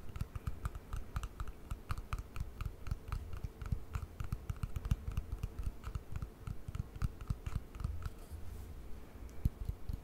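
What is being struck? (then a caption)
Small hard plastic cream jar with lid. Long painted nails tap rapidly on a small, hollow white hard plastic cream jar with a lid, held in the hand. The result is a dense, continuous stream of quick, dry clicks with a hollow low thump and a bright tick on each tap.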